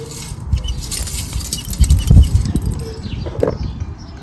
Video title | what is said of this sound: Is a blocked Catalytic converter causing the running issues on my 2005 R53 Mini Cooper S?? | bits of the cat shouldn't be falling out